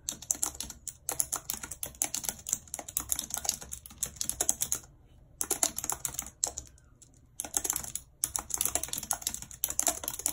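Very long red acrylic nails and fingertips type quickly and continuously on the hollow plastic keys of a full-size white and silver keyboard with a numeric keypad, lying on a map. The result is a dense stream of bright, sharp clicks and taps, broken by brief pauses around the middle of the clip.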